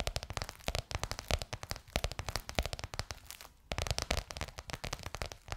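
Long nails tap and scratch a bronze-gold crocodile-embossed faux leather cover stretched over a curved hollow form. The result is a rapid run of short, dry, crackly taps with a low, hollow thump beneath bright clicks, with a brief quieter scratching lull before the tapping resumes.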